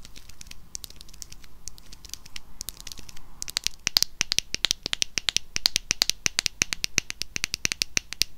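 A small, hollow pink plastic cylindrical hair wax stick tube, held in the hand, is scratched and tapped with long acrylic nails. Soft, rustling scratches in the first few seconds give way to a fast run of sharp, bright clicking taps that are dry and short with no ring.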